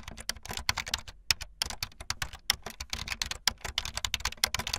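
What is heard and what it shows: Fast typing on a full-size backlit plastic Bluetooth membrane keyboard with white and blue plastic keycaps and a hollow plastic body, the keys pressed with fingertips and the tips of long painted nails. A rapid, uneven stream of short, bright, clacky taps with hollow rattly edges and little low end, each click dying away almost instantly.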